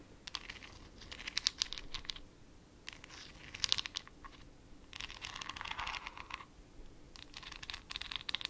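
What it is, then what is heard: Glass jar with plastic lid. A small clear glass jar with a white plastic lid, filled with a glittery substance, is scratched with long acrylic nails on its side and lid. Bursts of quick, bright, clicky scratching are separated by short pauses. One longer, denser stretch of rasping scratching comes near the middle.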